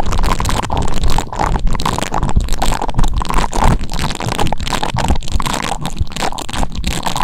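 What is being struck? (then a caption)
Metal microphone capsule. Silver metal cylindrical microphone capsules on a stand are rubbed and brushed by fingertips, each wearing a white silicone finger toothbrush with short bristles. The contact makes a dense, continuous scratching and rubbing, heavy in low rumble with a midrange scrape, broken by repeated brief dips between strokes.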